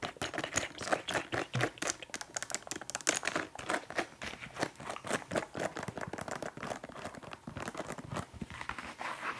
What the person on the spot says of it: 11:50 Tapping on leather